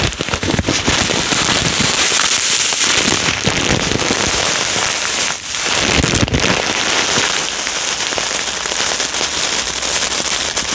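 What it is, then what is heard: Polystyrene foam beads in a plastic bag. A full clear plastic bag of yellow polystyrene foam beads is rubbed and pressed with fingertips, then lifted and squeezed. The result is a dense, bright, continuous crackle and rustle of beads shifting against the plastic, steady throughout with one brief dip in the middle.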